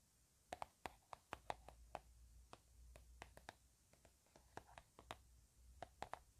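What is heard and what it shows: A blueberry-print plastic hand cream tube, hollow and apparently filled, is held up and tapped with fingernails and fingertips. About 22 soft, quick taps come in an uneven rhythm, each a dry click with a hollow knock around 800 Hz that dies almost instantly. A faint low hum sits underneath at a quiet overall level.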